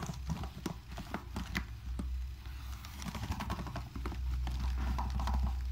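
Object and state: Laptop keyboard being wiped.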